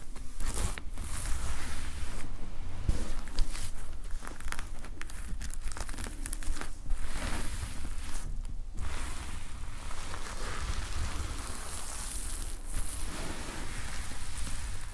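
Fingertips stroke across the black plastic sequin fabric cover of a closed notepad lying flat. The sound is a steady, crinkly rustle of sequins flipping and scratching, with bright clicky edges over a constant low rumble throughout.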